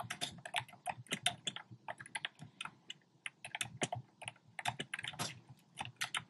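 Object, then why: Plastic keyboard keycaps. Fingertips type rapid key taps on a compact black plastic typewriter-style keyboard with round plastic keycaps. The result is a quiet, uneven stream of bright, clacky clicks with a short, dry decay and little low end.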